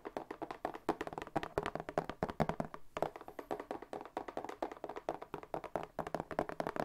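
A medium brown corrugated cardboard shipping box with a white label, apparently hollow or empty, is tapped with fingertips and short nails while held up close. Quick, dry, hollow taps follow one another in a steady, uneven patter, each dying away almost at once.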